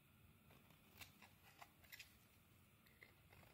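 A metal blade shaves curls off a solid purple soap bar held in the hand. About five crisp, bright scraping cuts stand out over a quiet, steady low background, each ending quickly.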